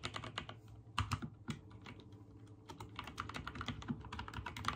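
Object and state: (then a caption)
Mechanical keyboard typing. Fingertips type rapid key presses on a backlit mechanical keyboard with white and teal plastic keycaps. Each stroke is a short clacky tap with a low thock under a bright click. The presses run in quick, uneven bursts with brief pauses between them.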